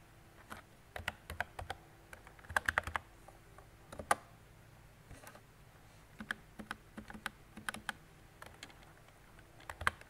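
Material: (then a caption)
Plastic. Fingertips with long decorated nails type on a mint-green retro plastic mechanical keyboard with round plastic keycaps and a hollow body. Quick bursts of short, dry clicks come in uneven clusters with brief pauses between them, each tap dying away almost instantly over a faint low hum.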